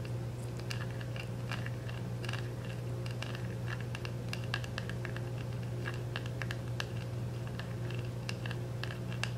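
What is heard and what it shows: A small round plastic makeup compact wrapped in clear cellophane is held in both hands while fingernails scratch and tap its back. The result is a steady run of quick, crisp crinkling ticks and light taps over a constant low hum.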